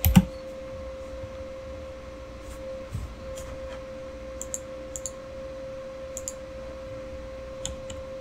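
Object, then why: Plastic mechanical keyboard. Fingertips type on a backlit Razer mechanical keyboard with plastic keycaps and RGB lighting, starting with a heavy thump and then scattered light, sharp key clicks. A steady tonal hum runs underneath throughout, and near the end one hand comes to rest on the keyboard.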